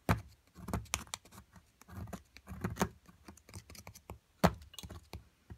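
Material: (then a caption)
Plaster. A metal chisel scrapes and chips at a solid plaster block from an amethyst crystal excavation kit. It makes a run of short, dry scraping and crumbling bursts with brief crisp ticks and no ringing, and one sharp, louder knock lands near the end.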